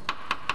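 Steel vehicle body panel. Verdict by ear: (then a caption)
Sound. Three light taps with the flat plastic end of a corrosion assessment tool on a good, uncorroded steel vehicle body panel. Each tap gives a short, bright metallic tick centred near 1.1 kHz that dies away quickly, and the clear, non-dull tone marks the metal as sound.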